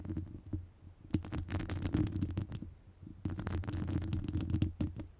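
Long nail tips scratch and tap the top of a hollow metal wire-mesh microphone grille. The result is a dense, close, low rumbling scrape scattered with sharp, bright ticks, coming in two busy bursts separated by a brief quieter gap.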